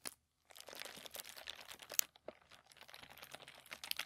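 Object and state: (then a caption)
Thin tissue paper. Fingertips of both hands rub and scratch a sheet of thin, crinkled white tissue paper lying flat on a table. Soft, bright crinkling and scratchy rustling fill the clip after a short silence near the start, with a sharper crackle near the middle and another near the end.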